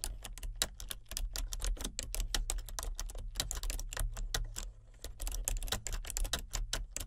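Fingertips of both hands type continuously on a solid, full-size plastic membrane computer keyboard with a colour-changing backlight. Quick, dry, bright key clicks come in a steady stream with a brief lull near the five-second mark, over a constant low hum.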